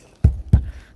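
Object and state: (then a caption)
Hollow-sounding asphalt shingle roof. Two dull, low thuds from tapping on an existing asphalt shingle roof, which is to be covered with a metal panel roof installed over a wooden frame. The short, bassy knocks die away quickly and sound hollow.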